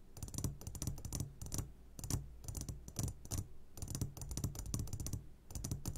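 Short fingertips of both hands tap quickly on the sides of a medium glass jar turned upside down and full of sugared gummy candies. The result is rapid, dull clicking taps with a low hum beneath and bright, sharp edges, with brief pauses between bursts.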